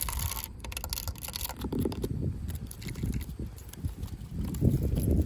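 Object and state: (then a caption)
Plastic fence top guard. Long pink acrylic nails tap and scratch a yellow, ribbed, hollow plastic corrugated top guard, a safety cap on top of a chain-link fence. A quick, irregular patter of dull, hollow, low-heavy knocks mixes with short scratchy rasps, each tap dying away almost at once.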